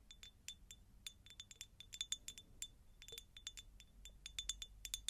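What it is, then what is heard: Cut glass jar. Long nails tap and scratch a medium, hollow, empty cut-crystal glass jar, producing a quick, irregular series of bright, short clinks. Each clink rings with a thin glassy tone near 3.5 kHz and higher sparkle, then dies almost at once. The sound stays quiet, with faint low rumble between taps.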